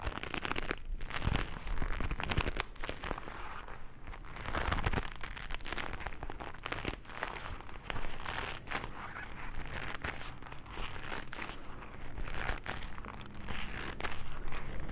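A pair of black leather gloves worn on both hands is rubbed and squeezed palm to palm in front of the chest, between two microphones without touching them. The result is a steady, close crinkling and creaking of leather, with dense rustling bursts that carry a heavy low rumble throughout.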